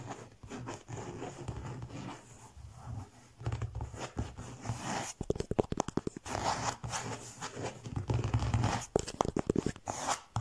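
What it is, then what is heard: Faux leather cover scratched. Fingertips and nails scratch and rub a textured faux leather (leatherette) cover printed with the Eiffel Tower. The result is a dry, crackly scratching with soft rubbing swishes and bursts of quick, closely spaced strokes, close up and at low level.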